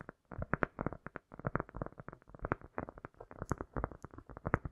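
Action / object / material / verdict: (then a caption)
tap / solid cork disc / cork / none. A round, solid cork disc is tapped and scratched quickly with the long nails of both hands, with an echo effect added. The result is a rapid, uneven stream of soft, dull clicks and scratches, mostly low and warm with little brightness, and each hit dies away quickly.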